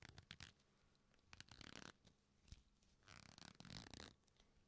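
A black leather belt, a flat solid strap, is pulled taut and then folded and rubbed between the fingers. Quiet creaking and stretching sounds come in several bursts, with short sharp clicks and longer broad rasping passages, some reaching bright highs.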